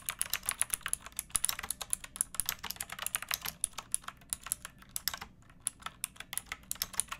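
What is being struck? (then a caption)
Plastic typewriter-style mechanical keyboard. Long painted nails and fingertips type on a pink backlit typewriter-style mechanical keyboard with round plastic keycaps and a hollow plastic case resting on a wooden board. A steady, rapid stream of short, bright, clicky keystrokes sounds with very little low end, each click dying away almost instantly, with a brief pause near the five-second mark.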